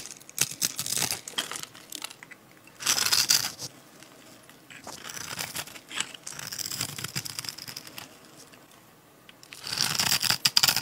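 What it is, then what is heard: Dry soap bar being scraped and cut. A metal utility-knife blade scrapes and cuts into the scored surface of a solid, palm-sized, blue and white striped dry soap bar held in the hand, releasing small cubes. Dry, bright crinkling and crunching scrapes come in bursts, with louder passes near the start, around three seconds, and at the end, separated by softer, steady scraping.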